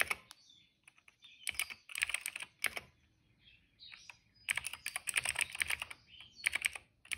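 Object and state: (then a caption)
Plastic mechanical keyboard being typed on. Fingertips of both hands type on the keys of a retro-style cream plastic mechanical keyboard with black and purple keycaps. Bursts of quick, bright, clicky keystrokes come in rapid runs, separated by short quiet pauses, with each click very short and dry.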